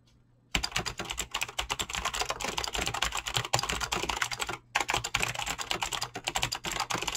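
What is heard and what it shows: Fingertips fast-type on a mechanical keyboard with clicky green switches and PBT plastic keycaps. A dense, rapid stream of bright, sharp clicks starts after a brief silence, pauses for a moment midway, then resumes. Each keystroke is crisp and dies away almost at once.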